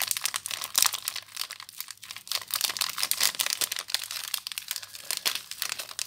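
Fingers with long nails crinkle the clear plastic wrapper of a small soap bar up close. The result is a dense, continuous run of bright, crisp crackles and rustles with almost no low end, each crackle dying away instantly.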